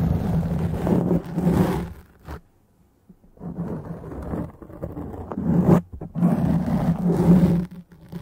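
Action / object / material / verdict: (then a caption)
scrape / foam microphone windscreen / foam / none. Long dark-painted nails of both hands scratch a soft, porous black foam windscreen on a microphone, making a deep, muffled rumbling scrape. The scratching comes in loud bursts with a near-silent pause in the middle before it resumes.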